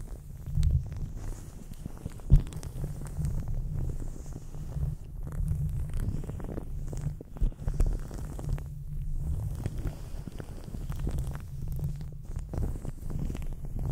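Fingertips in white latex gloves rub and tap the bare metal mesh grille of a large, hollow condenser microphone. The result is a steady, muffled low rumble of scratching and brushing, with a few sharper, louder taps standing out briefly. There is almost nothing bright or high-pitched in the sound.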